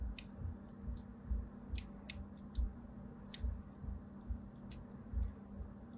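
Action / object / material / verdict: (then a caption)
scrape / bar of soap scored with a thin blade / soap / none. A thin blade, held by a hand with pink nails, scores diagonal lines into the surface of a solid rectangular white bar of soap held in the other hand. About nine soft, crisp scratching clicks come at an uneven pace, each with a brief bright edge. A steady low hum and rumble run underneath.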